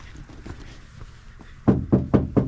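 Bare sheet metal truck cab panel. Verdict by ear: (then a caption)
Resonant. Four taps on the bare, untreated sheet metal of a Ford F350 truck cab panel, before sound deadening is applied, come after a second or so of quiet low-level background. Each tap gives a sharp, rattly, resonating "ting" with a low body around 190 Hz and a short decay, showing the panel's resonance.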